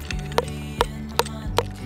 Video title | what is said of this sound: 【総集編】約300日の車暮らし。ふたりで西日本一周したら人生が変わった。 | 岩の上を小石で打つとポンポンと鼓のような音がする